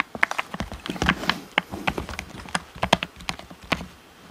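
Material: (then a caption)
Plastic. A black, hollow, hand-sized plastic Xbox controller is held in both hands and tapped on its back and grips with short-nailed fingertips. About nineteen quick, dry, clicky taps come in an uneven run, each sharp and bright with almost no ring and a slight hollow knock underneath.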